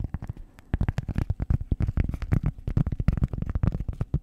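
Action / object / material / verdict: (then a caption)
tap / round cork pad / cork / none. Long acrylic nails scratch and tap a flat, solid, round cork disc about the size of a hand, held over the mic. A rapid, uneven stream of short, dull, low thumps and scratchy ticks plays with almost no ring, with a brief lull near the start before the tapping picks back up.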